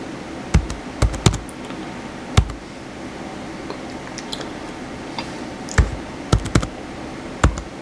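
Fingertips type quickly on the white plastic keys of a blue plastic laptop keyboard, producing sharp, dry clicks with a dull low thump beneath each one. About eight louder key strikes stand out from a steady low background hum, with fainter high ticks in between.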